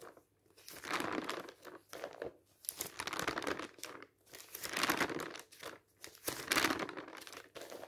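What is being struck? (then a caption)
Glossy paper magazine. Fingers turn the pages of an open glossy paper fashion catalog or magazine, producing smooth, crinkly rustles. Several swelling bursts of broadband paper noise reach up into bright highs, separated by brief quiet gaps.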